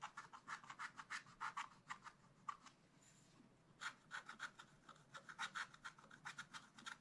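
A wooden stylus makes rapid, short scratches on a thin black-coated scratch-art card lying flat, working over the bamboo and bird areas. Each dry, raspy stroke is bright and crisp, with quick bursts that stop almost at once. The scratching runs steadily, pauses briefly for a soft hiss just past the middle, then resumes at the same quick pace.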